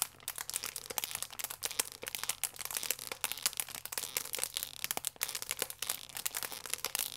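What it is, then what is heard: Plastic film wrapper crinkled. A full plastic film croissant pack is squeezed and crinkled with thumbs and fingers. The result is a continuous stream of dense, bright crinkling and sharp crackles, with almost no low end and no lingering ring.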